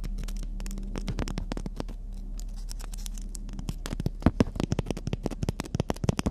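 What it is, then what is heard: Emery board nail file. A long, thin, flat black-and-white emery board nail file with a gritty surface is held up in both hands and scratched and tapped with long natural fingernails. Soft, dense scratching and light patter sit over a steady low hum, then give way to louder, sharper, quick-decaying taps in the last couple of seconds.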